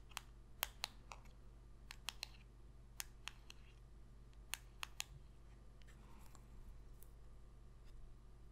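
A small, thin, solid glossy cardboard football card, No. 21, is held in the fingers and tapped and clicked with long pink acrylic nails. The result is a quiet series of sharp, dry, bright clicks, each centred around 3.2 kHz and dying away almost instantly. A steady low hum sits underneath the clicks.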